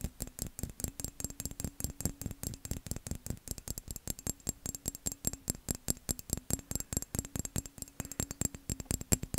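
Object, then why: Textured embossed glass vase. A tall, hollow, empty dark-blue vase of textured, embossed glass is held up by hand and quickly scratched and tapped with fingernails along its ridged surface. The result is a rapid, steady stream of short, dry clicks and taps with a low, hollow body and a faint scratchy edge, each hit dying away almost instantly.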